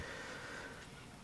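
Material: Nothing is struck.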